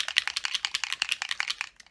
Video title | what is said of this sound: Simply Cards & Papercraft 239 ~ Let's Make Something Different With the Free Gift! | you need to shake it so that you hear the little ball bearing